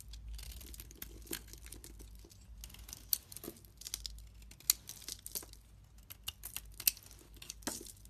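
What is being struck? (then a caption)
Bar of soap shaved with a blade. A blade shaves a solid pink-and-white bar of soap held in the hand, cutting it into white flakes. Quiet, bright, crinkly scraping is broken by irregular sharp, crisp clicks and crunches over a faint low hum.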